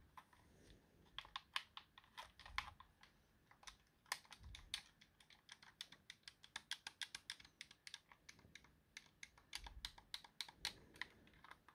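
A thumb presses and clicks the face buttons and D-pad of a white, hand-sized plastic Xbox wireless controller with a hollow shell, held in the hand. About 47 short, sharp clicks come in an uneven, rapid series, bright and dry with almost no ring. Faint low thumps sit under some of the presses.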